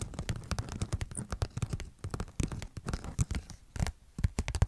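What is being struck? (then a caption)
Glossy paper sticker sheet. Long nails scratch and tap quickly across a thin, glossy paper sheet of cartoon stickers held flat in both hands. The result is a rapid, uneven run of short, dry clicks and scrapes, with soft low thumps under bright, crisp scratching.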